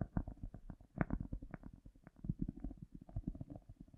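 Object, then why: Cork disc. A round, solid cork disc held in the hands is scratched and tapped on its surface and edge with long nails, with an echo effect added. The result is a quiet, rapid, irregular run of soft, muffled, low-heavy taps and scratches that die away almost instantly, with a few stronger knocks standing out.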